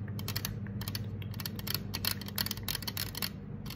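Long acrylic nails tap and scratch the side of a hollow green 355 mL aluminum soda can standing upright on a marble table, its fill not visible. Quick, bright, clicky taps come in dense clusters, mixed with a scratchy texture. Each tap dies away almost instantly over a steady low hum.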